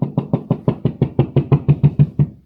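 Fourteen quick knocks on a section of drywall where a TV mount and cables will go, each a short, low, hollow thud centered around 150 Hz that dies away almost at once. The wall sounds hollow, with an empty cavity behind it and no stud at that spot.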